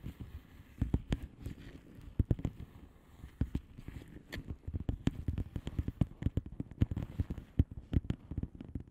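Long manicured nails of both hands tap and scratch a flat blue plastic bubble wrap mailer envelope with air-filled bubbles. Quiet, dry, crackly clicks and short sharp taps come in quick irregular bursts over a low, dull thump. Each hit dies away almost instantly.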